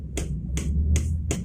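A telescopic fishing pole section, reinforced with paper tape and glue and sanded smooth, is fitted into the first segment and knocked against a hand. Four sharp, solid knocks sound over a low background hum. The solid sound shows the joint fits snugly.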